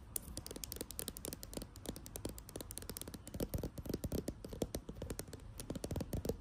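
Long acrylic nails tap rapidly on a filled plastic foundation tube, making a dense run of short, dry clicks with a hollow mid-range knock and bright ticks on top. The taps come in quick irregular bursts over a low background hum, each dying almost instantly.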